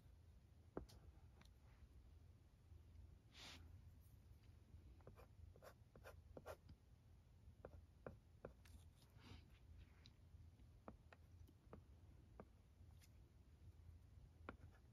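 A wooden pencil tip draws small doodles on a dark blue, flat plastic LCD writing tablet resting on carpet. Quiet scratching strokes and short, sharp taps click against the plastic surface over a low, steady background hum. Each tap dies away almost instantly.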